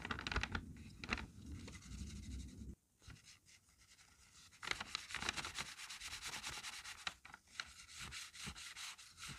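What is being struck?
Paper strip on notebook page.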